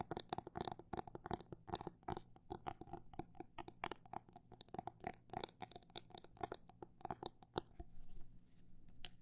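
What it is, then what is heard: Phone case tapped. Fingernails tap on a phone case in a fast, uneven run of short, dry clicks with very little ring, each click bright at the top and over a steady low hum. The tapping is dense for most of the clip, then thins to a few scattered taps toward the end.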